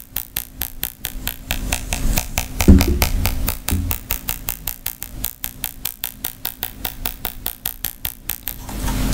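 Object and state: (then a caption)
Rattan wicker bag tapped with nails. Long fingernails tap and scratch on the side rim and leather clasp of a round rattan wicker bag. A quick run of crisp taps, about three per second, has dull low knocks under bright clicks, with a louder rubbing scrape in the middle. It ends in a rising, hissy scratch.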